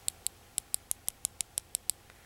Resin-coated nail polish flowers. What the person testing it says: it sounds like glass when you hit against them